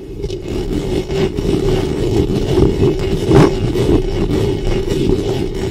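Long fingernails scratch the metal mesh grille on the hollow head of a black studio microphone. The result is a steady, dense, low scraping rumble with a raspy band just below 500 Hz and almost no high end, swelling briefly louder around the middle before settling back.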